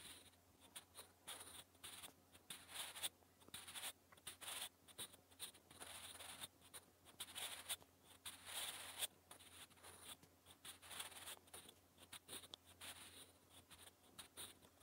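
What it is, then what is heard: Pencil writing on lined paper. A wooden graphite pencil scratches across a lined paper notebook page while writing Korean text. Dense, bright, papery scratching strokes come in quick irregular bursts with short pauses between, over a faint steady low hum.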